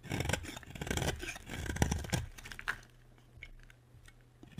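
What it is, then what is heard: Dry bar soap being carved. A utility knife scrapes and carves flakes off a solid bar of dry pink soap. A dense run of dry, crunchy scraping strokes with bright edges fills the first three seconds, then fades to a few quieter, scattered scrapes over a faint low hum.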